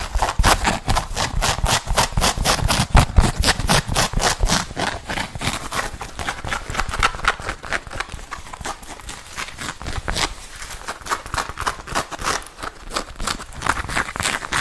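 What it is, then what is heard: Leather jacket sleeve. A worn black leather biker jacket with an embroidered sleeve has its sleeve scratched and tapped with long red nails. Quick, dense tapping and scratching runs throughout with a crisp, bright texture over a low rumble, about two taps per second on average but unevenly spaced.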